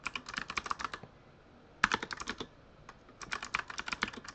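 Fingertips of both hands type continuously on a full-size Razer Huntsman mechanical keyboard with RGB-lit plastic keycaps. Three bursts of rapid, crisp, bright clacking keystrokes come with short quiet pauses between them. Each keystroke is sharp and dies away almost instantly.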